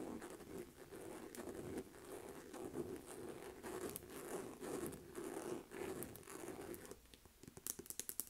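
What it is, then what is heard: Faux leather shoulder purse. A pale pink textured faux leather Aldo flap shoulder bag, medium-sized and hollow, is tapped and scratched across its front panel with long nails. Soft, crinkly scraping and quick taps form a low-mid rustle for about seven seconds. The clip ends with a few sharper, brighter, isolated taps.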